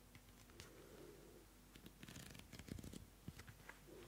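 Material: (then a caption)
Paper. A small pink Pantone paper notebook has its pages flipped and fanned quickly with fingertips and nails. Quiet papery rustles and soft flutters build into a burst of crisp, dry snaps and ticks, then settle back into light rustling.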